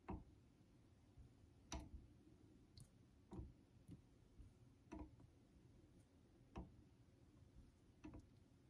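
A vintage Geneva Cutlery steel straight razor is honed on a solid yellow synthetic whetstone, making six short rubbing, scraping strokes at an irregular, slow pace. Each stroke gives a brief gritty swish with a bright edge over a steady low hum, and the sound dies away almost at once.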